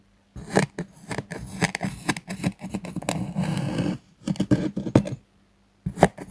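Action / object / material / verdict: scrape / kinetic sand slab cut with a metal knife / kinetic sand / none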